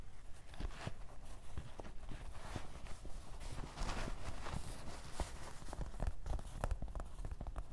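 Fingertips tap rhythmically on the fabric surface of a dark grey canvas cloth fanny pack, a soft hollow bag lying flat on a table. The taps are soft, dull, low thumps that die away almost at once, over a faint steady fabric rustle.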